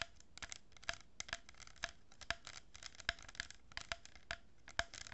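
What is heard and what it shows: A hollow cardboard tube lined with a row of plastic pearl beads, held horizontally, is scratched and tapped with long nails. Quick, dry clicks and taps with a bright, hollow ring stand out over a soft, steady scratching hiss. Each tap fades almost at once.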